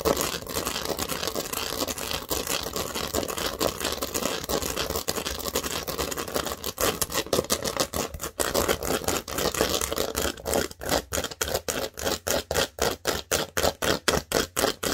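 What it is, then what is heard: Plastic studded baseplate. Long nails scratch quickly across a large, thin green plastic studded Lego baseplate, making a dense, bright, broadband rasping that runs for about ten seconds. The sound then turns into a fast, steady series of short, sharp taps that stop dead with almost no ring.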